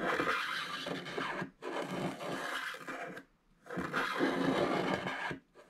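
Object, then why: Wax-coated foil scratch-art card. A wooden stylus scrapes the black wax coating off a flat scratch-art card of gold foil paper lying on a table, while the other hand holds the card. Three long, gritty scraping strokes, separated by short pauses, are followed by a brief faint one. The sound is dry and hissy, with a broad bright rasp.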